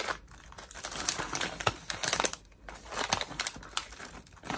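A small, partly filled metallized plastic Cheetos bag is held in both hands and crinkled and squeezed with the fingers. Bright, crisp crackles come in uneven bursts with sharp snaps, little low end and almost no ring after each crunch.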